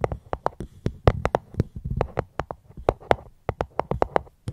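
A fruit box held close to the microphone is tapped gently with about 22 quick, uneven taps in a loose rhythm. Each tap is a short, dull knock with a low body near 100 Hz and almost no high end, dying away at once.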